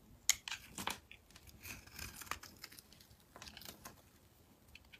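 A metal blade cuts and scrapes chunks off the embossed face of a solid mint-green soap bar. Crisp, bright scraping and crumbling sounds come in short bursts, with a few sharper cuts standing out.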